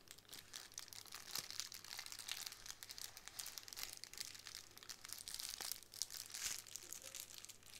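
Long acrylic nails and fingertips tap, scratch and press the bubbles of a small square sheet of clear plastic bubble wrap lying flat on a wooden table. The result is a quiet, continuous, bright crinkling and crackling with many short, sharp ticks and scratches, over a faint low hum.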